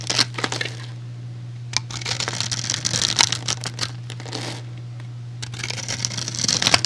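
A metal utility blade scores a solid, rectangular, hand-sized white soap bar into a grid and shaves off cubes. Bright, crisp scraping and crumbly crackling come in bursts, with quieter pauses between, over a steady low hum.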